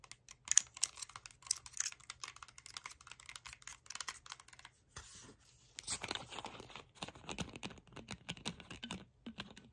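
Long pink nails tap and scratch the bottom and plastic cap of a hollow Chi Forest plastic sparkling water bottle, partly full of liquid. Quick, bright clicking taps come in a steady patter, pause for a soft hissing scrape, then return as a denser run of crisp tapping and scratching.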